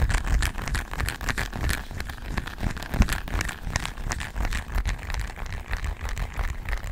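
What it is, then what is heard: Plastic remote control tapped and scratched. A small, solid, flat plastic LED remote control with colored rubber buttons is held in one hand close to the mic and tapped and scratched with long nails. The result is a quick, uneven stream of soft clicks and scratchy rustles over a heavy low thump, with a light bright edge on the sharper taps.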